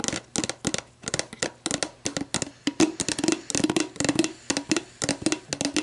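Long black nails tap and scratch an empty, hollow clear plastic sports drink bottle lying on its side, working over its label and ridged bottom. A rapid, uneven run of short, dry, hollow plastic clicks and scrapes with a mid-low resonant body and bright crinkly edges, each dying away almost instantly.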